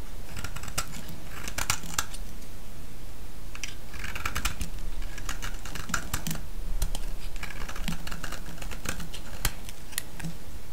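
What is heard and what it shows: A utility-knife blade shaves a solid, palm-sized, pale yellow bar of soap into curls. Crisp scraping strokes and sharp little cutting clicks repeat throughout over a steady low hum, with bright bursts as the curls peel away.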